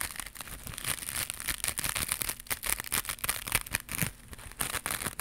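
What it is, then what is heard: Woven fiber scrub pad. Long pink acrylic nails scratch and rub a small, flat, white woven crocheted fiber scrubber pad held in both hands; the pad is soft and not hollow. The result is a dense run of quick, bright, crinkly scratching strokes with a hissy high end and little low rumble.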